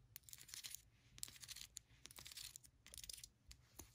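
Long pointed acrylic nails tap and scratch the ribbed outside wall of a small white ceramic candle vessel filled with solid wax, held in the hand. Quick, bright clicks and dry, raspy scrapes come in busy bursts with short pauses between them. Each sound is sharp and dies almost instantly, with almost no low end.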